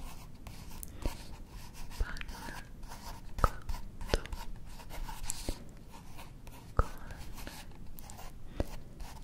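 Fingertips with long manicured nails slowly trace and rub across the printed paper page of an open illustrated cookbook held up close. Soft, low scratchy rubbing is broken by sharp taps and ticks from the nails on the paper.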